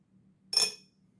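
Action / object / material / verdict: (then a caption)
drop / steel folding knife blade / steel / none. A 5.3 oz AUS-10A steel blade from a folding knife clinks once as it is set down or moved after being weighed on a scale. The strike is a bright, high metallic ting with a short ring that fades within a fraction of a second, over a faint low hum. It sounds like metal.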